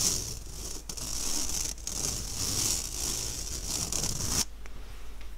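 Fingernails scratch and drag across an empty, round, fine-mesh stainless steel sieve held upright, making a steady bright, hissy rasp with a faint low rumble beneath it. The scratching runs for about four seconds, then cuts off abruptly, leaving only quiet, faint rustling.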